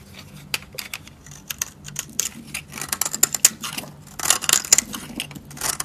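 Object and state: Dry soap bar.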